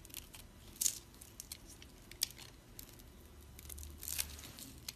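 A flat metal blade scrapes and carves cubes off a solid green bar of dried soap held in a palm with long red nails, letting crumbs fall onto a pile of soap shavings. Dry, bright scraping runs throughout, punctuated by sharp crunchy cracks as pieces break away. Each crack is crisp and dies out almost instantly.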